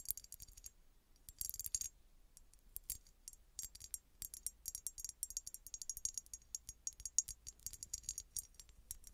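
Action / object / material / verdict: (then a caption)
tap / small embossed glass bottle / glass / none. Long red nails tap quickly on a small, hollow, red embossed glass bottle that appears empty. The result is a quiet, bright clicking and ticking in irregular bursts with brief pauses. Each tap is short with almost no ring.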